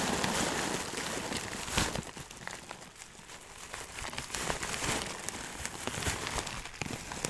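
A clear plastic bag full of dry loose herbs is tilted and shaken, so the contents shift and pour inside. The result is a steady, soft crinkling and crackling rustle of plastic and dry leaves, with brief louder crackles.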